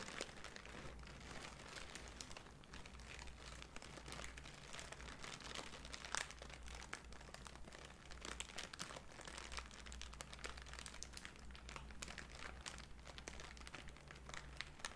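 A crumpled sheet of thin pink tissue paper is squeezed and crinkled between both hands with long nails. It makes a dense, continuous bright crinkling and crackling over a steady low hum, with a sharper crackle near the middle.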